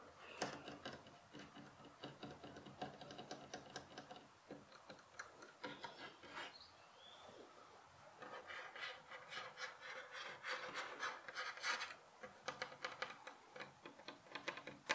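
Fingertips and short nails rub and scratch along the top and side of the solid wooden rail of a light pine bed headboard with vertical slats, beside a pillow. The result is a quiet, steady stream of dry, rasping scratches with bright, crisp edges and almost no low end, each stroke dying away quickly.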